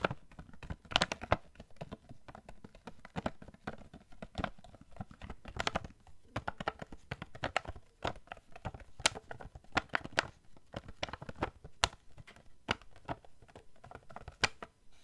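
A small, hollow, printed cardboard gift box is held near the face and tapped with fingernails in quick, irregular bursts. Each tap is a short, dry click with a bright edge and a soft hollow thump beneath it, dying away almost at once.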